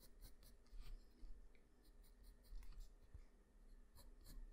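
The graphite tip of a black wooden pencil, held in the fingers, draws on a flat sheet of white drawing paper. Many quick scratching strokes make soft, dry rasps with brief bright hisses over a steady low rumble.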